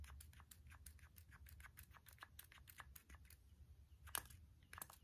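Fingertips and short nails tap the white plastic nozzle and collar of a small hand-held spray bottle with a clear body and a white pump-spray head, held close. A rapid series of quiet, dry, bright clicks with no ring sits over a steady low rumble, with one sharper, louder tap near the end.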